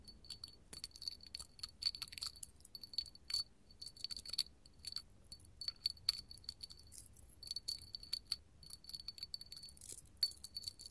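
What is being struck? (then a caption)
Glass candle holder tapped and scratched with metal nails. A small clear hobnail glass candle holder, a hollow cup covered in bumps and held in the hand, is tapped and scratched with long gold metal finger claws. Quick, bright clinking taps with a faint high ring that dies away almost at once mix with thin, rasping scratches over the bumps. The sound comes in irregular bursts throughout.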